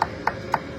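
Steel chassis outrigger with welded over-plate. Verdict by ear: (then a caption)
Hollow. Four evenly spaced taps on the bodged, welded steel over-plate covering a chassis outrigger on a Mitsubishi Delica 2.8TD Space Gear, which is starting to crack along the plate. Each tap gives a short, hollow knock centred around 900 Hz that dies away almost at once. The hollow sound shows there is no structure behind the plate; the outrigger is rotten and will all be cut out.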